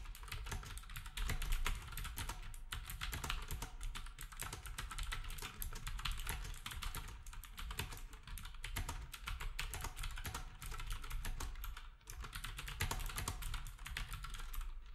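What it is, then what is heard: Plastic typewriter-style keyboard being typed on. A black compact plastic typewriter-style keyboard with round plastic keycaps is typed on steadily with fingertips while the other devices nearby sit untouched. Rapid, overlapping clicks and clacks run for the whole clip over a constant low hum, with only a brief lull around the twelve-second mark.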